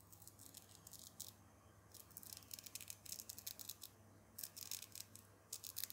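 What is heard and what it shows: A small black woven fabric tab with a textured hook-and-loop surface, on the cuff of a doll's dark jacket, is held between fingertips and rubbed and scratched. It gives crisp, bright, scratchy bursts in quick clusters, separated by short pauses over a faint low steady hum.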